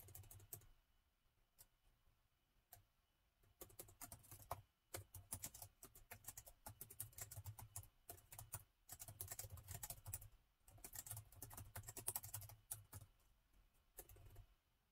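Fingertips on both hands type on the black plastic keys of a gold laptop, producing bursts of quick, bright clicks separated by short pauses. A steady low hum sits underneath the typing.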